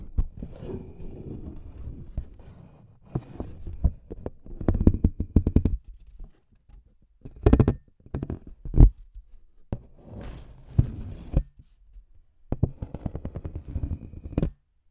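A thin, flat brown paper envelope is held in both hands and tapped and scratched with the fingertips and nails. Soft, low, dull scratching runs in bursts, broken by quick papery taps and brief quiet gaps, with the louder taps clustered toward the middle and end.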